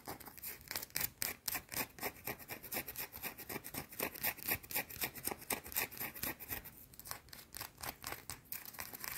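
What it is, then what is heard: Soap bar scratched with fingernails. Long blue-painted nails rub and scratch a small, solid, round white soap bar in fast, steady strokes. The result is a dry, bright scraping with quick, crisp bursts that repeat about four times a second, with little low end and almost no ring.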